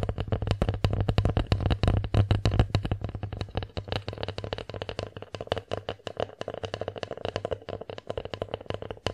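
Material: Wood.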